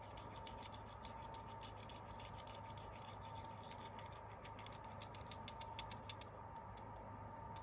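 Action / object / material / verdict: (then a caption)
tap / quartz crystal cluster / quartz / none. A small, solid, translucent white/clear quartz crystal cluster is held in the fingers and scratched and tapped with fingernails, on a hand wearing a ring. Quiet, irregular, crisp high clicks and scratches run throughout, with a few sharper taps standing out near the end. A steady low hum and tone sit underneath.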